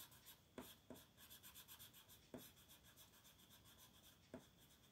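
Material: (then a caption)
Paper. A purple colored pencil makes continuous short shading strokes across a flat paper coloring book page while the other hand holds the page. A soft, steady scratching rasp with bright high hiss is punctuated by a few sharper ticks as strokes begin.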